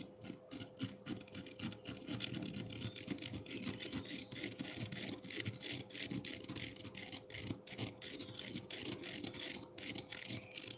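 A metal fork rapidly scrapes a solid block of frozen pineapple milk ice with crushed ice around its base, making a steady stream of short, bright, gritty rasping strokes. A faint low hum runs underneath throughout.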